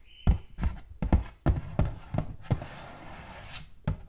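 Long gold metal claw nails tap rapidly on the flat face of a hollow, purple butterfly-printed cardboard gift box. About ten dull, low, hollow thunks land at an uneven pace, each dying away quickly. A brief steady tone sounds at the start and a soft brushing hiss fills the pause before the last tap.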